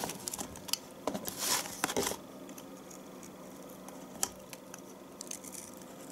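A metal knife scrapes shavings off the end of a solid bar of household soap held upright. The sound is a series of soft, dry scraping and crackling strokes, bright and high with little low end. A louder rasping burst comes around the second mark, followed by lighter, scattered scrapes and clicks.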